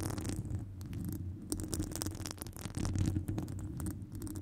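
Long nails of one hand scratch and tap the side of a hollow metal wire-mesh microphone grille. A deep, boomy rumble carries dense scratching, broken by quick, bright clicks from the taps.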